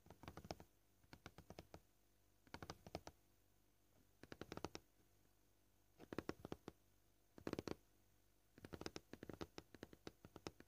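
Short painted fingernails tap rapidly with several fingers on a flat, solid, scratched white plastic cutting board. Quick flurries of dry, clicky taps come in several bursts at varied pace, separated by near-silent pauses. Each tap dies away almost at once, keeping the sound quiet and crisp.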